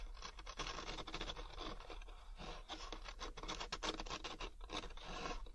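Fingertips and nails rub and scratch across the rough, fibrous ridges of a large, thin, hollow molded paper pulp packaging tray. The result is a dry, continuous scratching and scraping texture with bright, papery bursts and a steady low hum underneath.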